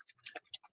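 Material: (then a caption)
Plastic. A foundry wax paint marker is shaken to mix its paint, and the little mixing ball inside is heard clacking. It makes a quick series of faint, bright, scratchy clicks with no low end and almost no ring.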